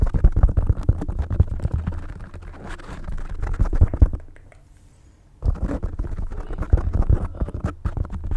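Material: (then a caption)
Foam. Long light-blue painted nails scratch and tap a rounded, soft black open-cell foam windscreen covering a large microphone head. This makes a dense, muffled low rumble of scraping and thumping. It drops to near silence for about a second before the scratching resumes.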